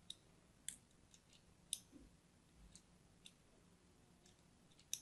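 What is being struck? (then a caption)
Bar of soap cut with a thin blade. A solid pink-and-white striped soap bar, held in hand, is scored in a crosshatch with a thin blade, scratching and cutting into it. Seven quiet, sharp, bright clicks and scrapes sound out, spaced unevenly and dying away almost instantly over a faint low hum.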